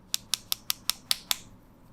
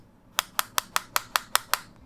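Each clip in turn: First: solid plastic earbud case. Second: hollow-sounding plastic earbud case.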